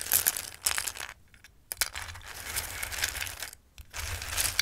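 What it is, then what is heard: Dry raw pasta. Fingertips with long nails rake and shuffle hard dried pasta shapes in a bowl, and a handful is dropped back in. The result is a bright, crisp rattle of dense, tiny clicks and clinks, broken by two short quiet pauses.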